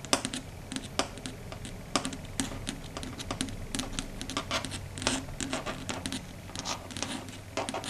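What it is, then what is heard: Chalkboard tapped with long nails. Long red stiletto nail tips tap rapidly on a flat, solid, dark grey chalkboard surface. The result is a quick, irregular string of sharp, bright clicks that stop almost instantly, over a faint low background hum.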